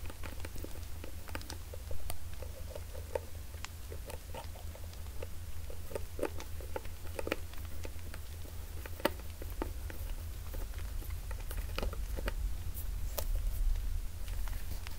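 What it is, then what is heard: Plastic bottle tapped and scratched. A medium hollow white plastic bottle with a white cap and pink label, held upright in one hand, is tapped and scratched with fingertips and nails. Soft, quick clicks and light scratching patter on and off over a steady low hum, each tap dying away almost instantly.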